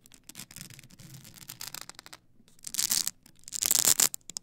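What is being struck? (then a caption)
Stack of polycarbonate CD discs on a plastic spindle. Long acrylic nails scratch the edges of a tall stack of blank polycarbonate CD-R discs on a plastic spindle. The result is dry, bright, rasping strokes: a soft run of quick scratches first, then a brief pause, then two louder, harsher bursts near the end.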